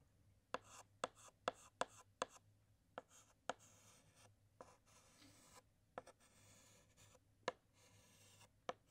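A white chalk stick taps and scratches across a large flat black chalkboard, drawing dots and a pattern inside the letter l. About a dozen sharp, short clicks of chalk against the board ring out, with soft, bright scratching strokes between them.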